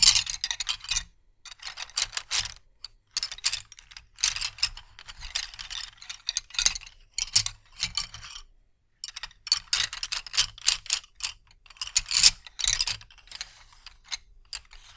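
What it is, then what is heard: Wooden colored pencils clacking together. A bundle of solid wooden colored pencils on a carpet is spread, regathered and rubbed by fingertips so the pencils clack against each other. Bursts of dry, bright, rapid clicking and rattling come in clusters with short pauses between them, each click dying away almost instantly.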